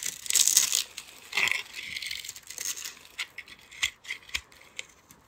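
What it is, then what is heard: Bar soap being carved. A palm-sized solid teal soap bar with a glittery purple coating is held in one hand and scraped and carved with a metal utility-knife blade, shedding curls and flakes. Bright, dry rasping scrapes come in long strokes at first, then thin out into short crisp scratches and ticks.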